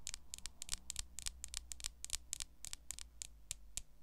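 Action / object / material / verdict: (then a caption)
tap / smartphone in a clear plastic case / plastic / none. Long acrylic nails tap and scratch across the back of a smartphone in a solid, clear plastic case. Quick, dry clicks come in an uneven, fast rhythm, each a short bright tick with almost no ring, over a faint low hum.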